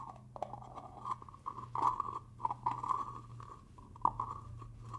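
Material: Plastic.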